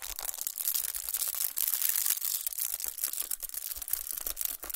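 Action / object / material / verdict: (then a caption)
scrape / chocolate bar in aluminium foil / aluminium foil / none. Long nails scratch and tap the crinkled aluminum foil wrapped around a chocolate bar. The result is a dense, bright crinkling and scratching texture with quick, dry taps scattered through it and almost no low end.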